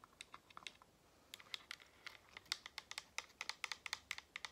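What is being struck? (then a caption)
Plastic children's drinking bottle. A hollow pink printed plastic children's drinking bottle with a flip-top straw lid, held in both hands with the straw near the lips, is tapped and scratched with long manicured nails. About 25 short, dry, bright clicks and ticks with no ring are heard. They come in loose clusters at first, then faster and denser toward the end, over a quiet background.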